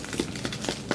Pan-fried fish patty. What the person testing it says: You can hear it. We got a nice crust on it.